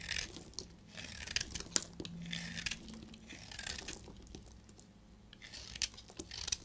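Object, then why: Bar soap. A solid, dried beige bar of soap is held in the hand and scraped and cut with a utility blade, shedding crumbly flakes. Close, dry, bright scraping and crunchy crackling bursts repeat through the clip, with sharp high transients and little low end.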